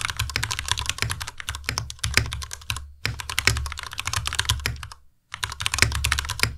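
Both hands' fingertips type steadily on a compact white Ducky Miya Pro mechanical keyboard with Cherry MX Red switches, white plastic keycaps and RGB backlight, its solid body resting on a desk mat. Dense, bright, clacky keystrokes ride on a low thud from each key bottoming out. Typing pauses briefly near the 3-second mark and again just past 5 seconds before resuming.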